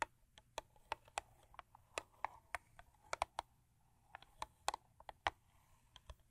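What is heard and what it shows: Long acrylic nails, on fingers wearing several rings, tap and scratch the top of a closed, long, thin purple Crest paperboard toothpaste box lying on fur. About 21 quick, dry, hollow clicks land at an uneven pace, each dying away almost at once, with faint papery scratching between them.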